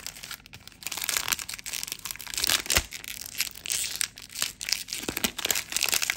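An empty blue plastic film packaging bag is crushed and crumpled into a ball by both hands close to the microphone. Dense, bright crinkling and crackling fills the clip, with sharp crunchy bursts and very little low end.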